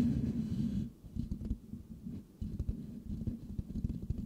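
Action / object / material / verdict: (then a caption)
scrape / metal mesh microphone grille / metal mesh / none. The hollow metal mesh grille of a Blue Yeti microphone is scratched with the fingertips of both hands. This makes a dense, low, rumbling scratch with a steady mid-low tone running through it and little high end. The sound dips briefly twice before the rough rubbing picks back up.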